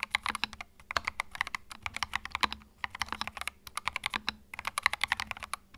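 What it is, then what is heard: Mechanical keyboard with plastic keycaps. Fingertips type continuously on a compact white mechanical keyboard with plastic keycaps, producing about 41 quick, dry clacks over nearly six seconds. The clicks are bright and sharp, centered around 2 kHz, with very little low end and almost no ring. Short pauses break the rapid stream near the middle and again toward the end.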